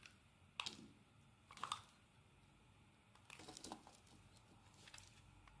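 A metal blade shaves thin, translucent curls from a solid white rectangular bar of soap. It makes crisp, bright scraping and crinkling strokes in irregular bursts, with a soft hiss in between and almost no low end.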